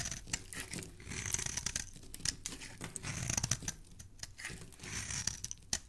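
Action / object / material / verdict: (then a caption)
scrape / bar of soap scraped with a metal blade / soap / none. A hand-sized solid rectangular yellow soap bar, held in the hand, is scraped and shaved with a metal blade, peeling off curls of soap shavings. Repeated dry, bright scratching strokes with a crisp, tearing texture are heard, broken by short sharp clicks and a soft low rumble underneath.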